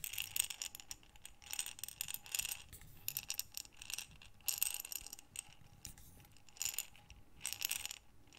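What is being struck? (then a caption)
Glass jar of small buttons. A small clear glass jar with a gold metal screw lid, full of assorted small buttons, is held in both hands with long dark nails and tilted and shaken. The buttons rattle in repeated bright, clicky bursts with quieter pauses between them, with almost no low end.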